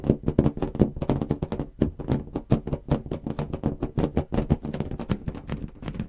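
A large inflated blue latex balloon, hollow and air-filled, is held against the mic and tapped with fingertips and nails. A fast, steady run of short, hollow, drum-like thumps follows, deep and muffled, each dying away almost instantly.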